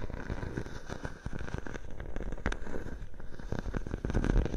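A clear plastic bubble wrap sheet draped over a microphone is scratched and pressed by long nails. A dense, uneven stream of crinkling crackles and soft pops sounds close and heavy in the low end, with a few sharper snaps standing out.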